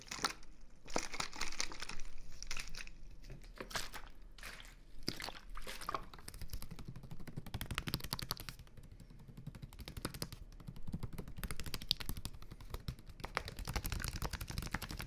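A small, clear plastic water bottle with a purple label and some water inside is held near the ear and crinkled and tapped with fingertips. Its hollow, thin plastic gives dense, bright crackling crinkles mixed with sharp, dry taps that stop almost instantly, with a low rumble of handling underneath throughout.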